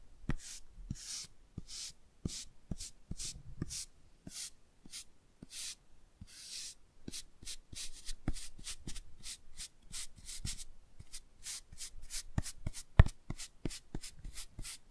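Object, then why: Laminated cardboard board book cover. A medium-sized, solid hardcover children's touch-and-feel board book of thick laminated cardboard, held in hands, has its cover brushed and scratched with a toothbrush. Short bright scratchy strokes come in a steady, rhythmic series, each with a faint low tap under it.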